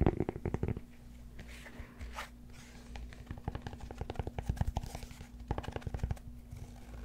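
Fingertips and nails scratch and tap the flat face of a solid cork yoga block held beside the mic. Quick bursts of dull, low, muffled taps open the clip, give way to soft scratching, then return as rapid clusters of taps. Each hit dies away almost instantly over a faint steady hum.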